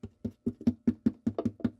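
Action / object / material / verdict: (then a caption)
tap / wooden acoustic guitar bridge plate / wood / loose. A loose wooden bridge plate inside a smashed WW2-era acoustic guitar is tapped from within, and about ten quick, dry taps come out in an uneven rhythm. Each tap gives a hollow, nasal "quacking" tone around 230 Hz that dies away almost at once, a sign the bridge plate is loose.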